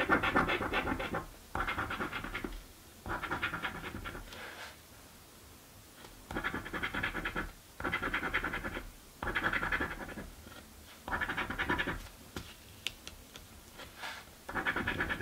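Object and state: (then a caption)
Coin scratching a paper scratch card. A coin held in the fingertips scratches the coated squares of a paper crossword scratch lottery ticket. Bursts of dry, rasping scratching alternate with short quiet pauses, with most of the energy in the midrange and a bright edge.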